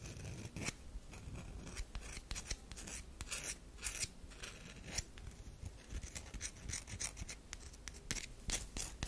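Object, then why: Bar of soap. A solid oval tan bar of soap held in the hand is scratched across its face and edge by long acrylic nails. The result is a steady stream of quick, dry, bright scratching strokes over a soft low rumble, each stroke ending crisply.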